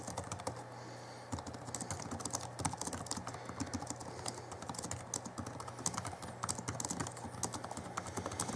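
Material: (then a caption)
Plastic. Fingertips of both hands type on the backlit plastic keys of a small 2011 Alienware M11x2 laptop keyboard. A quick, steady stream of short, dry, bright clicks and soft taps runs throughout, with a brief pause near the start, over a faint steady low hum.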